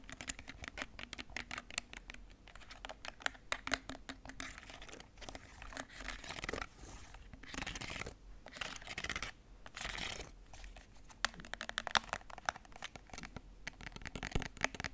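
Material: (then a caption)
Plastic. A black, hollow, hard plastic TV remote with rubber buttons, held in hands, has its buttons pressed and its surface tapped and scratched with fingernails. Quick, dry clicks and taps mix with bright, hissy scratching sweeps. The hits die away almost instantly.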